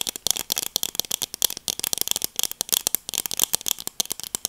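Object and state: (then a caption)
Plastic sunglasses. Black plastic-framed sunglasses are held in both hands while long acrylic nails tap and scratch across the frame and lenses. The result is a rapid, uneven string of about 27 sharp, dry clicks and scrapes. They are bright and thin, with almost no low end and no ring after each hit.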